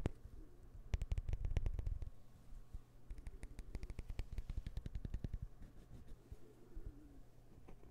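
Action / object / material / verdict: tap / small wooden puzzle piece / wood / none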